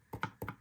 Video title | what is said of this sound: Moza GS v2p устранение скрипа или пластикового треска | чтобы не было вот этого звука пустого пластика, когда ты, ну, по нему стучишь, он глухой звук такой